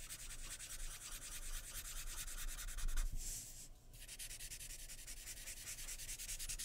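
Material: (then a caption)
Paper. A graphite pencil held in the fingers shades a portrait on a sheet of white drawing paper lying flat on a wooden table, making quick back-and-forth scratching strokes. The dry, bright rasping repeats in a steady rhythm, pauses briefly just past the midpoint, then resumes at the same pace.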